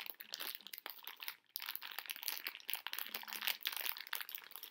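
A plastic bag full of hard candy conversation hearts is tapped and scratched with long nails and tilted in the hands to shift the candies inside. The result is a dense run of bright, close crinkles and small rattling clicks with almost no low end, broken by a brief quiet gap about a second and a half in.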